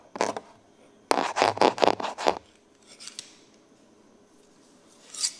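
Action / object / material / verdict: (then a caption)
scrape / large steel scissors / steel / none. Large dark steel tailoring scissors of solid metal are held in both hands and opened and closed in the air, cutting nothing, so the blades scrape against each other. A quick pair of bright metallic scrapes is followed by a rapid, uneven run of louder snipping rasps, then a few faint ones and a final sharp snip.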